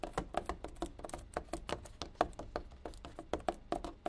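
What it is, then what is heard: Plastic gallon water bottle. Fingertips and nails tap and drum on the side of a large, ridged, clear plastic one-gallon water bottle that is full of water and capped. A quick, uneven run of short, hollow plastic taps with a mid-pitched knock and a little bright click, each dying away almost instantly, with a few louder accents.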